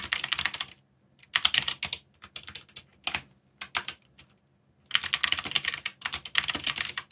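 Dense fingertip typing on a backlit mechanical keyboard with black plastic keycaps, heard in quick bursts separated by short pauses. Each keystroke gives a short, bright plastic clack that dies away almost instantly, with very little low end.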